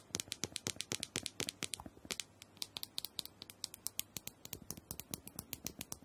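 Long nails tap rapidly on the dome of a small, round, purple plastic handheld massager that is likely hollow. About forty quick, bright clicks with almost no ring follow one another in an uneven patter, with a faint hollow body under each tap.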